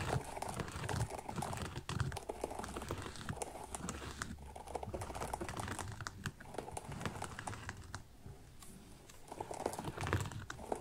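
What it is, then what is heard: Synthetic leather kids' boot, empty. Fingernails scratch and tap the upper of a small, empty kids' ankle boot made of synthetic leather with leatherette and sequin panels, a side zipper and a rubber sole. The result is a quiet, steady stream of dense, irregular crinkly scratching and soft, dull taps that rises and falls in brief bursts.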